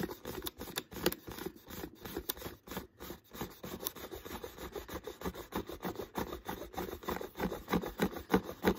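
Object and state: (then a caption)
Empty plastic water bottle. Fingers tap and scratch an empty, hollow, clear plastic water bottle with a green label, near its neck. A quick, uneven run of short, dry clicks and crinkly scrapes fills the clip, with a hollow low-mid body and a little bright edge. Each sound dies away almost at once.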